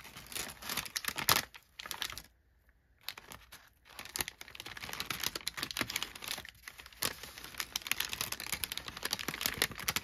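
A large, already crumpled sheet of thin brown kraft packing paper is held and unfolded with both hands, then crinkled and rubbed with the fingertips against a fleece blanket. Dense, bright, crackly rustling fills the clip, with a brief near-silent pause early on before the crinkling picks back up and continues steadily.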